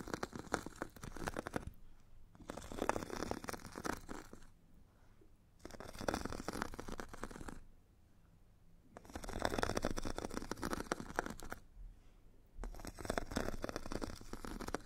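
A metal stick scratches the purple abrasive grit layer of a solid hand-held foot file with a white foam core. Dense, gritty rasping comes in five bursts separated by short quiet pauses, with a steady low hum underneath.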